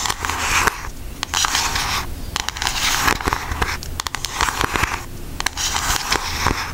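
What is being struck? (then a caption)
Cardboard makeup palette. A pink Aristocats cardboard eyeshadow palette is held up while long acrylic nails tap and scratch its front. The result is bursts of dry, bright scratching broken by sharp clicky taps, with a faint low hum underneath.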